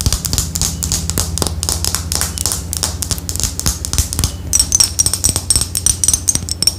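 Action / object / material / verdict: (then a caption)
tap / small glass perfume bottle / glass / none. Long acrylic fingernails tap rapidly on a small clear glass perfume bottle with a black cap, partly filled with liquid and held in one hand. The bright, crisp clicks come in a dense, steady stream over a constant low hum. From about halfway through, a high glassy ring sounds alongside the taps.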